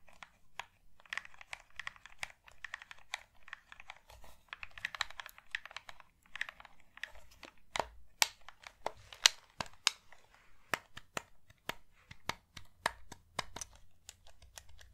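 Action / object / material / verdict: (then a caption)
tap / plastic game controller / plastic / none. Fingernails tap the shell of a hollow pink plastic GameCube controller and click its buttons. Quick, dry, bright clicks and taps come in irregular bursts, mixed with scratchy, crinkling rustles in the first half. Each tick is sharp, with almost no ring.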